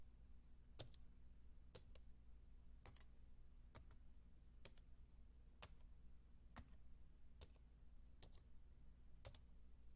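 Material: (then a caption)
Plastic. A white, low-profile Apple keyboard, about 28 cm wide, with plastic keys on a thin, solid aluminium base, is typed on with the fingertips and long dark-painted nails. Quiet, bright key clicks, often in quick doubles, tap out at a slow, steady pace over a constant low hum.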